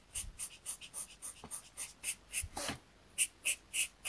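A marker tip held in the fingers rubs short coloring strokes across a thin, flat paper coloring sheet lying on a desk mat. Quiet, bright scratchy swishes repeat at an uneven pace, about 13 in all, with a longer rasping stroke partway through.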